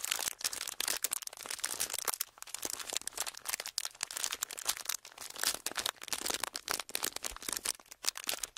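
A thin, flexible, hand-sized clear ridged plastic packaging sheet is crinkled and squeezed by fingertips and thumbs. It gives a dense, continuous stream of bright, crackling crinkles with sharp, quick-fading snaps and almost no low end.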